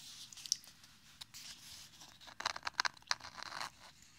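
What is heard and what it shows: A small, hollow, closed rectangular ZAO bamboo makeup palette case, held in both hands beside a binaural microphone, is scratched and tapped with fingertips and nails along its ridged bamboo surface. Soft, bright, dry scratching rasps mix with sharp little clicks that cluster toward the middle, with almost no low end. Each tap stops dead with no ring.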